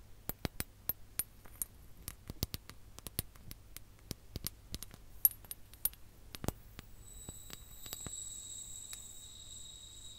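A ribbed clear glass sand timer with orange sand, red tassels and hollow bulbs is tapped with long nails and turned over. Dozens of sharp, bright clicks with almost no ring come in quick, uneven succession over a low background hum. In the last few seconds a soft, steady hiss with high, bright tones rises beneath the remaining taps.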